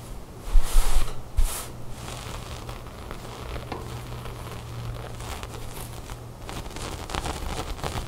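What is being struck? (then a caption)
Knit cotton sweater. Long fingernails scratch and rub a cream loose-knit cotton sweater folded on a wooden table. Soft, scratchy rustling and crinkling bursts louder in the first second and a half, then settles into a steady, low, fabric rubbing texture.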